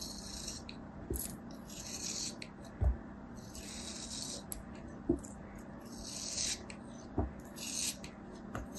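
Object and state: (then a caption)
Kinetic sand block, scraped. A small, solid chunk of kinetic sand held in the fingers is scraped and sliced with a metal craft knife blade. Bursts of bright, gritty rasping repeat, broken up by a few short, dull knocks, over a faint steady low hum.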